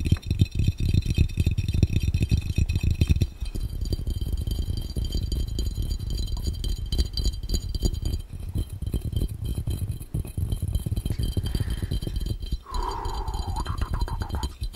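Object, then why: Glass fishbowl. Fingertips tap rapidly on a clear, round, hollow and empty glass fishbowl held over the lens, making a dense, continuous rattle of short, low, thudding taps. The tapping is loudest for the first three seconds, then settles to a slightly softer, steady pace. A faint tonal, voice-like sound rises briefly near the end.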